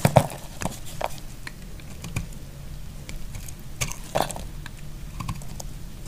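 A solid, dry purple bar of soap is held in the hand and shaved along its edge with a utility knife. Short, dry scraping clicks come at irregular intervals, with a few sharper cuts standing out. They fade almost instantly, with most of their weight low and only faint bright edges.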